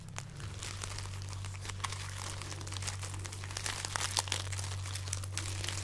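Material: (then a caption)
Dried chili. A long braid of dried, hollow, papery red chili peppers tied on a string is held up and crinkled and rubbed with long painted nails and fingertips. A steady stream of dry, bright crackling and rustling plays over a constant low hum throughout.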